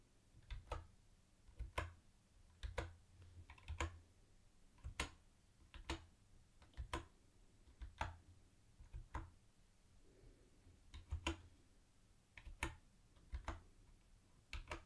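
Fingertips slowly tap single round white plastic keycaps on a mint-green plastic retro keyboard, producing about two dozen quiet, irregularly spaced taps. Each tap pairs a soft low thud with a short, bright plastic click that dies away almost at once.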